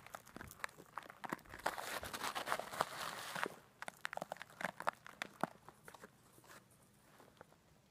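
A clear plastic zip-lock bag partly filled with coarse pink-white bath salt is held up, shaken and squeezed with long black nails and fingertips. A dense, bright crinkling and gritty crunching swells in the first few seconds, then breaks into sharp, irregular clicks and rattles that grow sparser and quieter toward the end.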